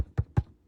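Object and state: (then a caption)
Tightly hooped embroidery stabilizer. Light tearaway stabilizer hooped tight in an embroidery hoop is tapped twice with a finger. Each tap gives a short, low, drum-like thud that dies away almost at once. The sound shows the stabilizer is hooped taut rather than saggy or floppy.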